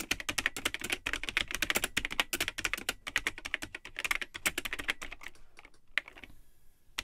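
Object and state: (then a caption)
Plastic computer keyboard being typed on. Fingertips type continuously on the yellowed plastic keycaps of a vintage Tandy 1000 HX, an all-in-one computer with a built-in keyboard in a hollow cream plastic case. The result is a fast stream of sharp, bright, hollow clacks with very little low end, slowing and thinning out toward the end.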